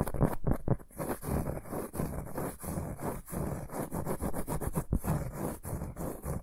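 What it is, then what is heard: Round cork board. A large, solid, round flat cork board or trivet is held upright in both hands and scratched with short fingernails and fingertips. The result is a steady run of short, dry scratching strokes with a soft, low-heavy rustle and little high content. Each stroke fades quickly.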